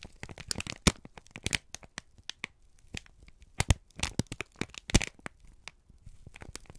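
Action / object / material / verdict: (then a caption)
scrape / kraft paper sheet / paper / none. A wrinkled brown kraft paper strip is squeezed and crinkled by both hands. It gives a dense run of dry crackles and sharp snapping bursts. The sounds are bright and crisp, with a low rustle underneath, and each snap cuts off almost at once.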